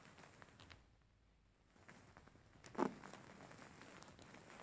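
Fingers scratch and pat the surface of a grey faux fur stuffed cushion, making quiet, soft rustling and light scratchy ticks. After a brief near-silent pause, there is a single louder, muffled pat, then the soft fur scratching continues.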